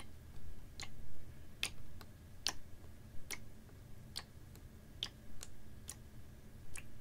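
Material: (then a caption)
Plastic. A clear, ribbed PET water bottle, capped and about half full of water, is held horizontally and tapped with fingernails. About ten short, bright clicks come at an uneven, slow pace, each dying away almost instantly over a steady low rumble.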